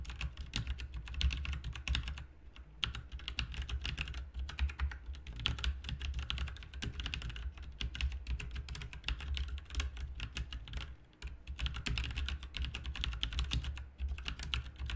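Both hands type with their fingertips on a backlit RGB mechanical keyboard with plastic keycaps. A steady stream of quick, bright clicks and clacks is heard over a low, constant hum, with brief pauses near two and eleven seconds.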